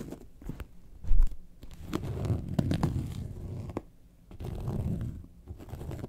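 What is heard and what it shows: Long nails scratch the top and side panels of a yellow faux leather lemonade-carton bag lying flat. The scratching is a soft, low, rumbling rasp in uneven bursts, broken by short bright ticks, with a heavier thump-like swell near the start.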